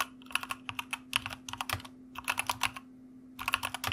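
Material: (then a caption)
Plastic. Fingertips of both hands type on a white plastic mechanical computer keyboard, producing quick, bright, clicky keystrokes in three bursts separated by short pauses, about two dozen in all. Each click is short and sharp, with a faint steady low hum running underneath.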